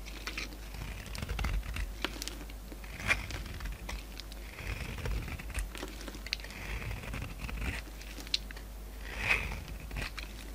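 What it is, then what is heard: Bar of soap being shaved. A solid white bar of soap is held in the hand and scraped and shaved with a utility knife, shedding crumbly white flakes. Dry, crinkly scraping and brittle crunching come in uneven bursts, with a few sharper, brighter cuts standing out over a steady low hum.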